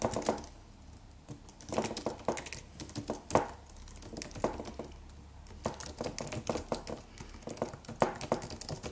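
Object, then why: Aluminum computer keyboard with plastic keys. Fingertips of both hands type on a slim silver aluminum computer keyboard with white plastic keys and a solid low-profile body. Quick, light clicky key taps come in uneven bursts with brief quiet pauses, each tap short and dry with almost no ring.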